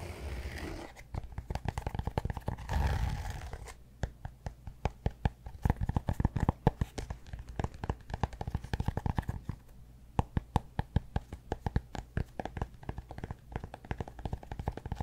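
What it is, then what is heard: Cork block. A cork block is tapped and scratched, giving a dense run of quick, dry, dull taps with no ring. A soft scratchy rustle swells around the third second before the rapid tapping resumes.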